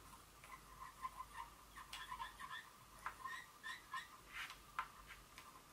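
Long fingernail tips lightly tap a small glass Dior perfume bottle, producing a quick series of soft, bright clicks. A faint, steady ringing tone near 1 kHz lingers beneath the taps.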